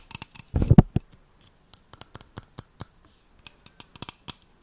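A tall cylindrical metal aerosol can of shaving foam with a printed label, hollow and pressurized, is held in one hand and scratched and tapped along its side with long nails. A short burst of rough scratching with a dull low thud comes first, followed by a sparse series of about twenty crisp, bright nail taps and clicks. Each tap dies away almost at once over a faint hollow low body.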